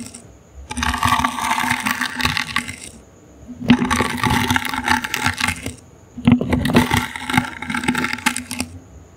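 A small, hollow, brown woven wicker basket held in the hand is scratched with the bristles of a toothbrush. Three bursts of dry, crackly, bright scratching are heard, separated by short quiet gaps, with a faint steady low hum underneath.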